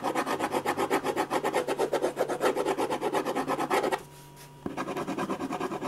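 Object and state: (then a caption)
Pen scratching on a paper sheet. A silver ballpoint pen scratches fast, dense hatching strokes into the hair and shading on a large white paper sheet resting on a drawing board. A rapid, steady run of dry, raspy scratches with quick onsets and bright hiss plays for about four seconds. It breaks off in a brief near-silent pause, then the scratching resumes.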